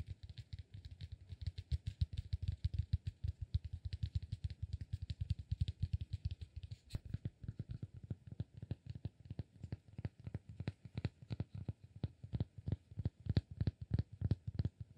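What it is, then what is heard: Cork block. A palm-sized rectangular solid cork block, held in one hand, is tapped and scratched with fingertips and nails. The result is a fast, irregular stream of dull, low-pitched thuds with very short, dry decay and faint scratchy texture, continuing steadily for the whole clip.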